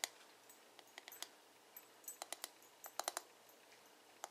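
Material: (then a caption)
Plastic. Fingertips and nails tap rapidly on the smooth, hollow plastic back of a paddle hairbrush. About fourteen short, bright clicks come at an irregular pace, some in quick clusters, each dying away almost instantly over a quiet background.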